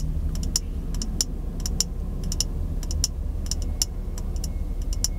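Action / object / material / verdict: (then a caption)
tap / small glass jar / glass / none. Fingertips and nails tap on a small, empty, hollow, clear glass jar held in both hands close to the microphone. Quick, bright clicks ring very briefly in irregular bursts over a steady low rumble.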